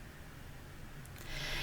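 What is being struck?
Nothing is struck.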